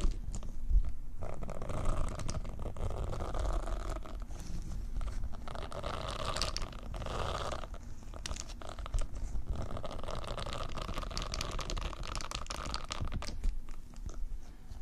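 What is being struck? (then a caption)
Silicone scrubber pad with soft bristles. A round white silicone cleaning pad with soft bristles is held above the microphones, and long nails tap and scratch across its bristle face. The result is a steady, close, crunchy scratching and tapping texture with a heavy low rumble and faint brighter crackle.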